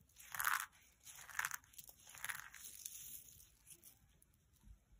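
Fingertips pick up and crush a small pile of dry, brittle brown soap shavings and rolled soap curls resting on a white pad. Bright, crisp crunches and crumbles come in uneven bursts, loudest near the start, then fade into softer crackles. Each crunch stops short with almost no ring.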